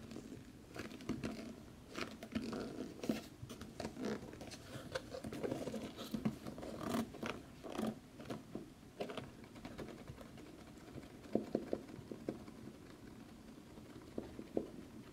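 A large, dark, hollow cardboard game collector's box, closed, is scratched and tapped with nails on its lid and edge. Quiet, dry scratching runs throughout, broken by soft, short taps with a slight hollow tone around 220 Hz.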